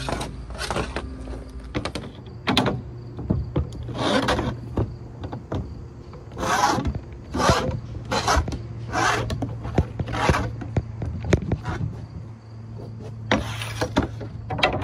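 A hand-held wire brush is scrubbed back and forth along the cut edge of a large, flat ALPOLIC-style aluminum composite panel lying on a wooden deck outdoors. The strokes come in bursts of bright, rasping scratches separated by brief pauses, over a steady low hum and scattered small knocks.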